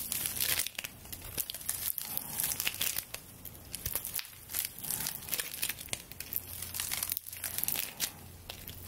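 A straw broom is held horizontally above the mic while long nails scratch and rub the tied, dry straw stalks of its handle. The result is a steady stream of bright, dry crinkling and rasping, with quick scratchy bursts rising and falling and only a faint low hum underneath.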